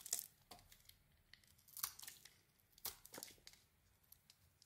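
A solid white soap bar with a dark red and white patterned coating is scraped and carved with a metal utility blade. Short, irregular shaving strokes produce dry, crisp, bright scraping and crinkling sounds with almost no low end. Quiet pauses fall between the strokes.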